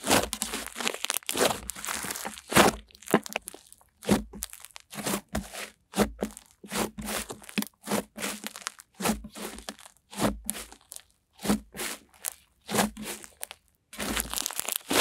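A soft, solid, hand-sized blob of opaque off-white cream-white butter slime on a white table is kneaded, pressed and folded with long-nailed fingertips and palms. It gives a quick run of short, crackly, crunchy squishes and crinkles, each burst bright and broadband and cut off fast, with brief silences between. A faint low hum sits underneath.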